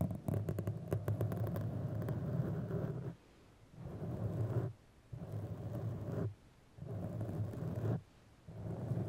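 Long manicured nails of both hands scratch and rub a soft, porous black foam windscreen over a microphone. The result is a dense, low, muffled rustling with quick crackly scratches at first. It then comes in sustained bursts separated by brief near-silent pauses.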